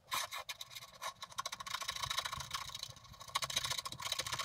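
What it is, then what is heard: Scratch art card being scratched. A wooden stylus scratches the black coating off a flat scratch-art card in the grass area with rapid strokes. The result is a bright, dry, raspy scratching made of quick, closely spaced strokes, with almost no low end and no ringing between them.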